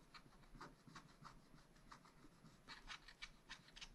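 A wooden stylus scratches along the red ornament edge on a black-coated sheet of a spiral-bound scratch-art pad. Short, dry, raspy scrapes repeat in quick succession, each a bright, hissy stroke over a faint low rumble, with no ring after each stroke.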